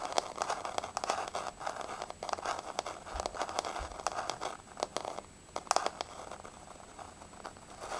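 Long nails tap and scratch on a flat, solid wood-look laminate floor with a wood-grain finish. Many quick, dry clicks and scrapes come in uneven clusters, with a crinkly midrange centered around 760 Hz, bright tick edges and almost no ring.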